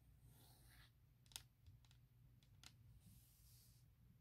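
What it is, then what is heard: Hard plastic laptop case. Long nails and fingertips tap and scratch on a thin, hollow, forest-print hard plastic MacBook shell case. Soft, bright scratching hiss opens and closes the clip, with a few sharp, quick-dying plastic clicks in between over a steady low hum.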